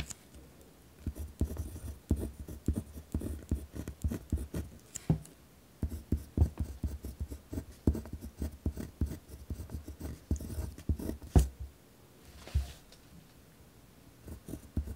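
A ballpoint pen tip scratches across a thin paper notebook page held flat on a wooden desk while writing. Quick, rough strokes come in dense bursts with short pauses between them, and the sound is heavy in the low range. The clip ends with a few quieter, sparser strokes.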